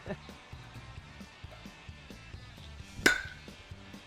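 A bat strikes a golf ball at a driving range, producing a single sharp, bright crack about three seconds in with a brief ring near 1.5 kHz. Quiet background music plays throughout.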